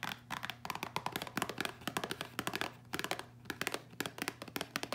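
Long acrylic nails tap quickly on a small, hollow printed cardboard box of Caribbean Dreams instant ginger tea, held in both hands and holding sachets. The result is a quiet, rapid run of dry, clicky taps with a hollow tone around 1 kHz and bright edges, each dying away almost at once. A faint steady low hum sits underneath.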